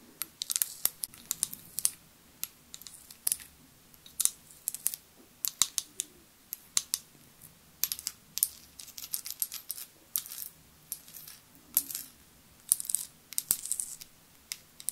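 Long nails tap a tall glass foundation bottle with a metallic cap, filled with beige liquid. The result is a quiet, irregular run of sharp, bright clicks that stop almost instantly, with almost no low end.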